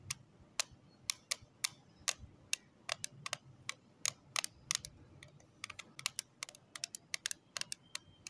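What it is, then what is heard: Plastic lip tint case. Long acrylic nails tap on the lid of a small, closed pink plastic case holding lip tints, resting on cloth. About thirty sharp, bright clicks come at an uneven, quick pace, each dying away almost instantly over a faint low hiss.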